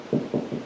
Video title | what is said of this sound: Stud finder | Now that sounds like a stud right there, and then it goes hollow again.